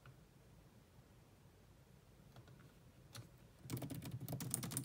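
Long nails tap on a grey laptop keyboard with low-profile plastic keys, sometimes with both hands. A faint low hum and a few scattered clicks give way, in the last second or so, to a dense burst of quick, bright, clicky typing.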